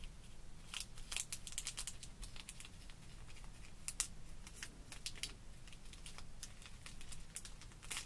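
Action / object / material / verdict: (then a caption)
scrape / plastic blister card of sequins brushed with a paintbrush / plastic / none. A small paintbrush is brushed and scratched over the clear plastic compartments of a card-backed blister package of rainbow sequins, held flat on a wooden table. Many quick, bright, crinkly scratches and taps sound over a steady low hum.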